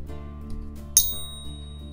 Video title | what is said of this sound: Product Review: Money Metals Pocket Pinger! | you can hear that ring unmistakable sound of silver